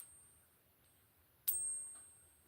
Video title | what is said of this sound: Favorite Half dollar design, Silver around the world coins, 1917 T-1 quarter. | Hear that high pitch? Certainly not what you want to hear in your silver coins